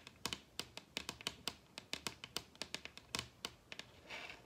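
Long red nails tap and rub on a large solid wooden table top, making about 21 quick, dry, bright clicks with almost no ring. The taps come in an irregular rhythm, and near the end they give way to a brief, soft, hissy scratch across the surface.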